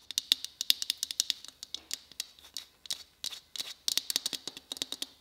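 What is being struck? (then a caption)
Christmas bauble. Fingertips tap on a white Christmas bauble in a quick, uneven series of about thirty short, dry clicks. Each tap rings bright and thin around 3.7 kHz and dies away almost instantly, with little low-end body.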